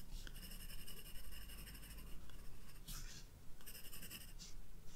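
A graphite pencil shades a vase with quick strokes on a white page of a spiral-bound sketchbook. Soft, bright scratching rises and falls in short bursts over a quiet, steady low rumble.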